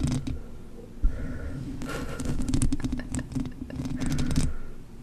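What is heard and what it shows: Long manicured nails scratch and tap across the black foam windscreen covering a blue USB microphone, its soft, hollow-backed foam close to the capsule. The sound is a muffled, bass-heavy rustling and scraping with dull, rapid taps and brief bright crackles, swelling in denser bursts before tapering off.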